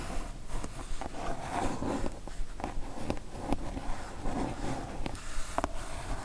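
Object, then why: Kraft cardboard mailer box. Long nails scratch across the surface of a kraft cardboard mailer box, producing a continuous soft, papery rasp with faint low rumble. Short brighter scrapes and taps punctuate the steady scratching at an uneven pace.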